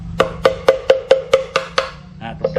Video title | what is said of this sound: เครื่องมือส่งสัญญาณสมัยโบราณ เพื่อเรียกประชุม หรือบอกเหตุร้ายต่างๆ "ตีเกราะเคาะไม้" | เมื่อเจาะรูแล้วเมื่อตีไม้ลงไปจะมีส่วนดังและส่วนเบาๆ